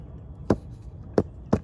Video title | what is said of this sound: 🔍 Find Your Missing Sprinkler Box 🌿 🧰 💦 | that plastic lid is on there and of course it's hollow in there, that's exactly where it's at